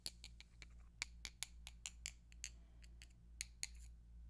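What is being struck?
Wooden colored pencils.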